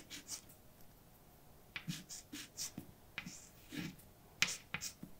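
A hand writes words with a white chalk stick on a large, flat, dark painted blackboard with a solid surface. Short, bright scratching strokes and sharp taps come in quick bursts, separated by near silence.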